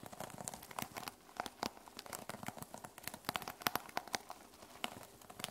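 Long nails rapidly scratch and tap the teal plastic sequin cover of a small notebook resting on a wooden table. A dense run of quick, bright clicks and crinkly rustles is heard, with short sharp peaks that die away almost instantly and little low end.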